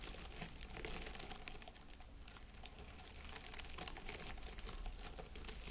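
Fingertips scratch and rub the plastic needles of an artificial plastic pine wreath with an LED candle in its centre. The result is a soft, continuous crackling and rustling with bright, crisp ticks, steady throughout over a faint low hum.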